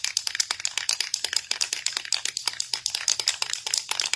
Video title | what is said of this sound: Foiling on Fabric: Jazz Up Your Jeans with a Stencil! | you really need to shake this up and hear that ball rattling like that